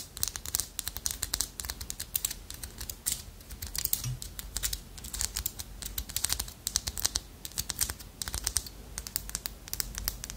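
Long nails scratch along the ridged shell bands of a small, solid carved wooden armadillo figurine. The result is a rapid, dense run of dry, bright clicks and scrapes, each one very short and fading almost at once over a soft, low rumble.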